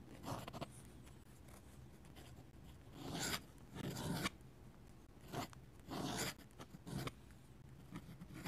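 A steel dip pen nib scratches flowing ink strokes across a flat paper sketchbook page. Short bursts of bright, raspy scratching rise and fade between quieter pauses over a low, steady background hum.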